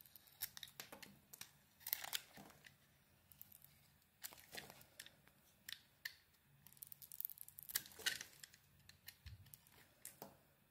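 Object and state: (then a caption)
Bar soap being carved. A small metal blade carves and scrapes a hand-sized, solid purple bar of soap with a pink interior. The result is a quiet series of short, crisp scraping and crackling strokes, mostly bright and high with very little low end. Each stroke stops almost instantly, and there are brief pauses between bursts.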